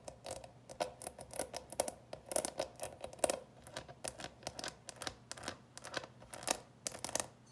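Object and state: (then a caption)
Plastic candy box, scratched and tapped. Long nails scratch and tap the plastic lid of a small clear plastic coffin-shaped box full of candies, with a skeleton on the lid. A rapid, irregular series of dry, clicky taps and scratches is heard, with a hollow midrange tone and a bright, scratchy edge. Each tap dies away almost instantly.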